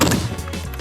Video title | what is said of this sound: 🆘🆘🆘 Bois d'urgence ! 🆘🆘🆘 | c'est du bon bois